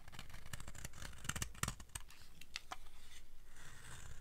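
A utility blade, held in long-nailed hands, scrapes and carves a solid, dry red soap bar. The clip is a quick run of crisp, bright scraping and shaving clicks over a low, steady rumble.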